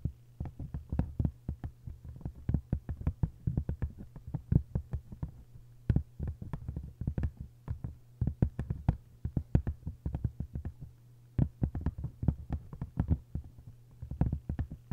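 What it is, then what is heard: Paper-covered hardcover book. Long acrylic nails quickly tap and scratch the paper cover of an open hardcover book lying face-down. The result is a dense, rapid stream of short, dry, low-heavy taps with brief scratchy flicks, set over a steady low hum.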